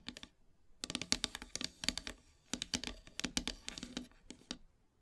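Long silver nails tap and scratch near the edges and center of a flat, solid, black-painted wooden heart plaque. The result is quick, bright, dry clicking taps with faint scratchy texture, played in rapid bursts separated by short pauses, each tap dying away almost instantly.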